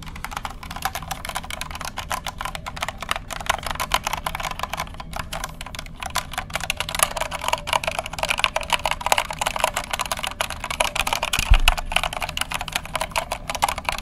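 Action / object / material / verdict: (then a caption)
tap / plastic mechanical keyboard / plastic / none. Fingertips press the keys of a compact white plastic mechanical keyboard with a hollow case, held tilted and upright in front of the microphone. A steady, rapid stream of bright, clacky keystrokes runs the whole clip over a low, constant hum, with each click dying away almost instantly.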